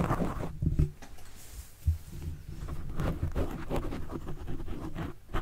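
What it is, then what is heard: Foam microphone windscreen scratched. A white plastic stylus tip is drawn in writing strokes across the soft, porous, tapering black foam windscreen covering a desktop microphone. The result is a close, muffled scratching and rubbing, heavy and boomy in the low end with almost no bright content. It comes in uneven strokes with a few louder thumping swipes.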